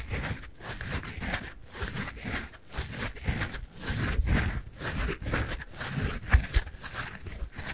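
A pink and yellow synthetic foam sponge with a porous surface is squeezed and scratched with the fingers. The result is a steady run of soft, crinkly scratching and squishing bursts with a deep, muffled body and a faint bright hiss.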